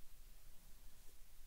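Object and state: Nothing is struck.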